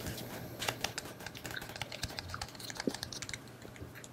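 A black, phone-sized solid plastic battery pack is held in one hand and tapped with long painted nails. Quick, dry clicks come in an uneven, rapid patter, each one short and bright with little ring. A soft low rumble sits underneath.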